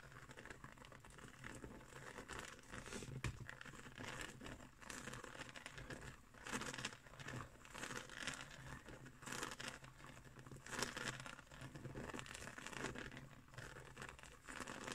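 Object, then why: Coiled woven straw trivet. Fingernails scratch across the woven surface and edge of a round, coiled woven straw trivet. The result is a quiet, dry, crinkly rasp with soft crackles, coming in uneven bursts that swell and fade over a broad range from low rustle to bright hiss.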